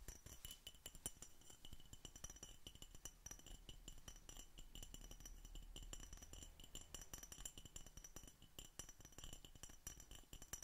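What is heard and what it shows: An empty, hollow clear glass Coca Cola bottle with a red label and cap is held in a fingerless-gloved hand and tapped with fingertips and nails. Rapid, continuous light clinks and ticks follow one another throughout, each with a bright glassy ring that dies away almost at once over a soft low rumble.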